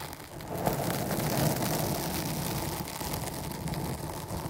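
Long almond-shaped nails of both hands scratch all around a dark foam cover on a microphone, a soft porous foam over a hollow capsule. The result is a dense, continuous scratchy rustle with a heavy low rumble and a broad hiss above it. It stays fairly steady throughout, with a slight dip near the end.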